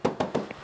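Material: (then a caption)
Steel. Four quick knocks on the steel body panel of a used 2019 Mitsubishi Triton 2.4GT Plus Mega Cab pickup, checking for filler. Each knock is a short, midrange tap with a tone near 527 Hz that dies away almost at once, and the fourth is softer with a brief higher ping.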